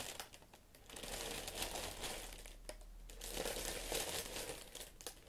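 White tissue paper wrapping hot pink leather Valentino Club Platform boots inside an open shoe box is pressed, rubbed and scratched with fingertips and long nails. It makes continuous soft crinkling and bright rustling in uneven swells, over a faint steady low hum.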